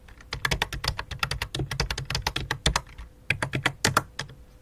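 A full-size white and light-blue plastic computer keyboard resting on black cloth is typed on rapidly with fingertips and long dark nails. The result is a fast stream of short, dry plastic clicks and clacks with a brief pause near the middle before the typing resumes.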